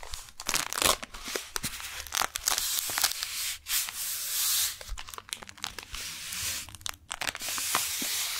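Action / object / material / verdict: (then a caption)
scrape / kraft paper wrapped package / kraft paper / none. Long painted nails tap and scratch the front of a brown kraft paper beeswax wrap package held upright, making the paper crinkle. Quick bright taps and longer rough scratching sweeps overlap with dry crackling, mostly in the high range with little low end.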